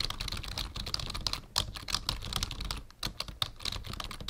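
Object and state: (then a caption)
Plastic computer keyboard. Fingertips of both hands type on a black full-size plastic membrane keyboard with a numpad, resting on a wooden desk. A rapid, steady stream of bright, short plastic key taps with soft low thuds underneath, briefly dipping in level just before the three-second mark before the typing resumes.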